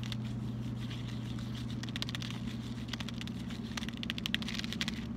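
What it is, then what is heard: Cardboard chocolate box. A closed, flat rectangular cardboard Lindt white chocolate box with a bar inside is held in the hands and tapped with fingertips and short nails. The taps make a quick, irregular patter like typing, with short bright clicks that stop at once. A steady low hum runs underneath throughout.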